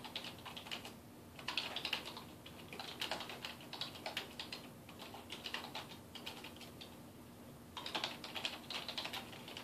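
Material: Plastic.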